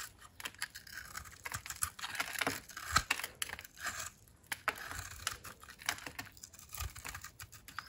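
A utility knife blade shaves white crunchy curls off a dry, oval solid soap bar held in the hand, its surface coated in orange-copper glitter over a white interior. The result is a rapid run of dry, crisp scraping and crunching bursts, bright and papery, with a few sharper cracks standing out. Each one stops short with almost no ring.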